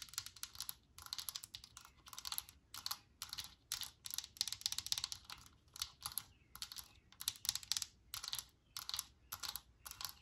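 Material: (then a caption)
Plastic. Long nails tap on the white plastic cap of a Lysol aerosol can standing on a table, making quick bursts of light, bright clicks. The taps come in short rapid clusters separated by brief pauses. Each click is dry and short with almost no low end.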